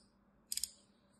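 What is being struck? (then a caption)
Bar of soap scraped with a knife blade. A small black utility knife blade scores and scrapes the surface of a solid, palm-sized green rectangular bar of dry soap embossed "Absolut," held in one hand, flaking off crumbly cubes. Three quick, crisp, bright scratching clicks come in fast succession, with a brief high hiss trailing after them over a quiet background.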